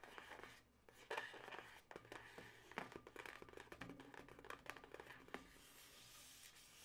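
Long natural nails scratch and squeeze at the twist of a yellow latex modelling balloon that has been twisted into two air-filled segments. The result is a quiet, dense run of short, scratchy rubber squeaks and rubbing crackles with bright high-frequency detail and little low end.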